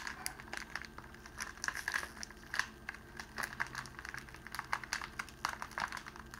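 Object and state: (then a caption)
Clear cellophane sheet being crinkled. A sheet of clear cellophane wrapping, rolled into a tube and held in the hands, is pleated and crinkled at its end by the fingers. The result is a steady stream of quick, bright crackles and crinkly snaps in uneven bursts over a faint low background, with each snap dying away almost at once.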